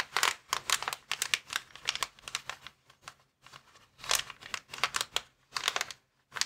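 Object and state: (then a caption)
Plastic air-column packaging bag. Fingertips with short nails tap and scratch across a flat, hand-sized, clear plastic inflatable air-column cushion bag lying on a wooden table, with a folded white item resting untouched beside it. The result is a run of bright, sharp crinkling bursts with quick, dry decays and brief near-silent pauses between clusters.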